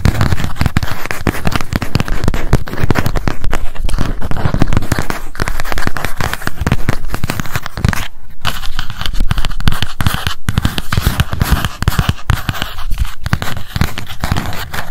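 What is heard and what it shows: A small pink m.memo spiral notebook with a cardboard cover is held in the hands while long acrylic nails tap fast and scratch across its cover and page edges. The result is a dense, continuous stream of quick, dry, crackling taps and scrapes at a steady level, heavy in low thud with little high-end brightness.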